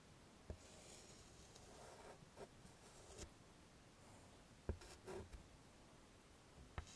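Fingers holding white chalk draw small dots and a smiley on the dark surface of a small flat chalkboard in a wooden frame. Short, sharp chalk taps and brief scratches stand out over a quiet, low background hiss, with four distinct hits that stop quickly.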